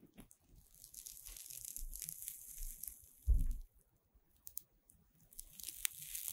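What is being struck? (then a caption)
Puffed corn-starch foam chain. Fingers with long red nails bend and squeeze a long chain of green puffed corn-starch foam playcorn segments held in both hands. The lightweight solid foam gives soft rustling, crinkly tearing and crunching sounds with bright hiss on top, and one louder, deeper crunch near the middle.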